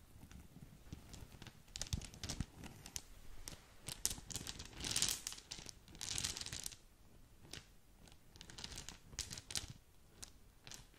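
A small green polka-dot satin drawstring gift bag with a ribbon is scratched with long nails while fingers crinkle and squeeze the fabric. Soft, bright crinkling and scratchy rustles come in uneven bursts, with louder swells of dense crackling before the sound tapers into quieter scratches.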